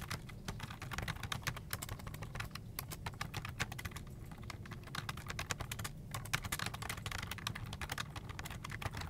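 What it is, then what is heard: Plastic computer keyboard. Both hands type fast with their fingertips on a full-size black plastic desktop keyboard with a hollow plastic body and keycaps, resting on an office desk. A dense, steady stream of short, bright plastic key taps runs throughout, over a low, thick hum-like bed.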